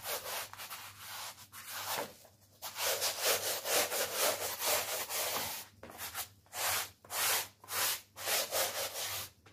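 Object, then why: Wet woven wool kilim rug scrubbed with a stiff-bristle brush. A small, wet, flat-woven wool kilim rug, very dirty with mud, is scrubbed on a plastic sheet with a blue stiff-bristle brush held in one hand. Rubbing strokes across the weave make bright, rasping swishes. They blur together at first, then separate into distinct strokes at about two per second.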